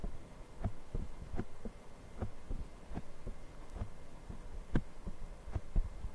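Fingertips of both hands tap and scratch a small black foam windscreen, soft and porous over the hollow capsule of a handheld Zoom recorder mic. The result is a run of short, dull, low thumps with almost no high end, plus soft scratchy rustling and a faint steady hum underneath.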